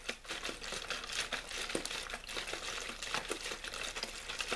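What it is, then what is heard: Plastic water bottle. A hollow, clear plastic water bottle with a blue label is crinkled and squeezed quickly with fingers. The result is a dense, continuous stream of bright, crackly plastic crunches with little low end.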